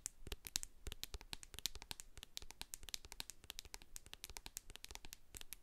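Long acrylic nails tap and scratch the sides and label of a medium hand-held plastic jar of hair co-wash with a silver metal lid, full of white cream. Many quick, dry, bright clicks run close together with faint scratchy texture in between, each one dying away almost instantly.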